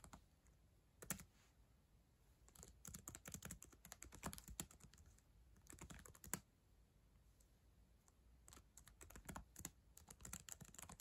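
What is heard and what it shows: Long acrylic nails type on the plastic keys of a black ThinkPad laptop keyboard. Quick, sharp, bright clicks and taps come in bursts separated by short pauses, each dying away almost instantly over a quiet, low background.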